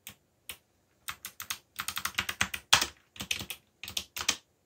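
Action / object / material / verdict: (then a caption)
tap / plastic mechanical computer keyboard / plastic / none. Fingertips tap the black plastic keycaps of a backlit mechanical computer keyboard, typing in uneven bursts. About 23 short, bright clicks come in quick runs with brief pauses between them, each dying away almost at once with very little low end.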